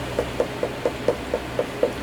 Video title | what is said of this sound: Tuxedos 101 (History of shoes) | you knock on the patent you get um more of a hollow sound